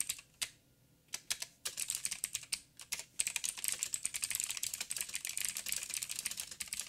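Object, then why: Mechanical keyboard with plastic keycaps. Fingertips type fast with both hands on a backlit 87-key mechanical keyboard with plastic keycaps and clicky blue switches. A few scattered clicks at first give way to a dense, rapid stream of sharp, bright, short keystrokes with almost no low end.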